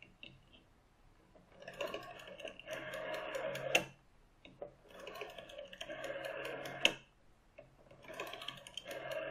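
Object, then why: Plastic rotary telephone dial. Fingertips with short painted nails rest on, tap and rotate the clear plastic dial of a green plastic rotary telephone with a metal finger stop. The result is bright, rattling mechanical clicking in three long bursts, with a few light taps in between. The first two bursts each end in a sharp snap.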